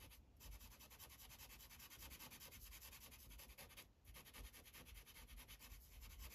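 A light-blue Sharpie felt-tip marker colors in a thin white coloring page on a plastic clipboard with rapid rubbing strokes. The sound is a continuous, dense scratchy rasp with a bright hiss and a low, soft underlying rumble. It pauses briefly twice as the strokes change.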